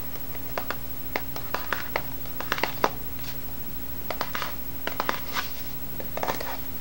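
A small, hollow white cardboard box with a lid, held against the table, is tapped with the fingertips and nails. It gives about nineteen light, dry, papery taps and scratchy clicks in uneven bursts, each dying away almost at once. A quiet, steady low hum runs underneath.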